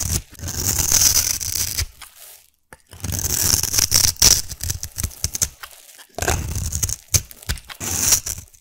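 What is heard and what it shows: A solid black glittery soap cube held in the hand has its scored surface scraped and sliced with a metal blade. Rough, bright scraping and crisp crunchy cuts come in bursts, broken by short quiet pauses, with a high sparkling edge throughout.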